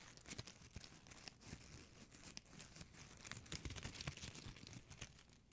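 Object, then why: Metallic plastic ribbon gift bow. A small gold metallic plastic ribbon gift bow is squeezed and crinkled with fingertips and nails. It gives dense, crackling crinkles with sharp, bright snaps over a low rustle, and the activity grows busier toward the end.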